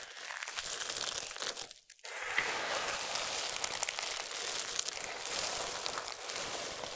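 Fingers rake through and press down on a pile of small, solid, dry multicolored soap strips, then both hands scoop up and crush handfuls. The result is a dense, bright crinkling crunch with no low end. It drops to near silence for a moment around two seconds, then continues as a steady rustling crush.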